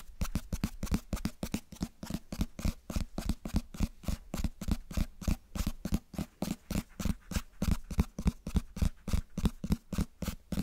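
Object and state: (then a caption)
Cloth-bound hardcover book. Fingertips tap and scratch the cover and spine of a closed cloth-bound hardcover book held close to the mic. About fifty short, dull, low thuds come in a brisk, slightly uneven rhythm with soft scratchy texture between them. Each tap dies away almost instantly with no ring.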